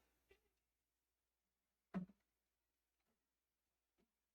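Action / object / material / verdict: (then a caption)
tap / reheated potato french fries / potato / crisp. Leftover potato french fries, reheated in a toaster oven and just pulled out, make a few short, dry crackling sounds, with a small crackle early on, a louder crisp burst near two seconds, and faint ticks after. The sound shows the fries have turned crispy.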